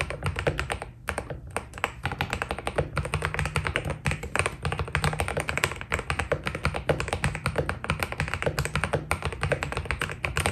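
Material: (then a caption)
PBT plastic. Fingertips type steadily on a white Keydous NJ80 mechanical keyboard with PBT plastic keycaps. The result is a fast, continuous stream of short, dry taps, each with a low, deep thock and a brighter clack on top. There is almost no ring between strokes.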